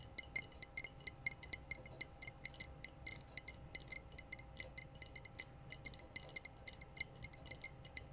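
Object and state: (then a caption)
Glass wine bottle. Long blue nails tap and scratch the curved shoulder and body of a clear glass wine bottle with a foil-capped neck. The result is a quick, steady run of bright, short clinks with a ringing tone near 2.1 kHz that fades almost at once. A faint low rumble sits underneath.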